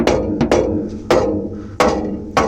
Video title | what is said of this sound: Extreme trunk wall Project: 2 nsv4 18, 2 scv 7500d | it feels very stiff very very stiff